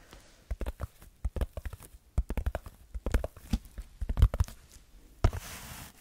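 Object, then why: Textured foam sheet. Fingertips scratch and tap a red textured foam block held close to the microphone, giving a rapid, irregular run of soft, dull, low thumps with short scratchy rustles between them. The taps stop near the end, where a brief scrape leads into a steady hissy rasp that fades to quiet.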